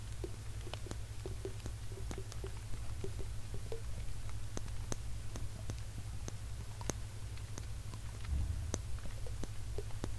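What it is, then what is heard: Small glass jar. A small, hollow, clear glass jar with a black cap is held in one hand close up and tapped and scratched with fingertips and nails. The result is soft, irregular, dry clicks and taps with faint scratching over a steady low hum. Each click is short and bright, with almost no ring.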